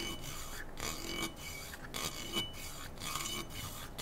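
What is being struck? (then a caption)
Slotted metal rifle handguard. Fingertips and nails rub and scratch along the slotted metal handguard of a black AR-style rifle held diagonally. The result is a steady, bright, raspy scraping with a faint metallic ring near 3 kHz, swelling and briefly dipping as the strokes change.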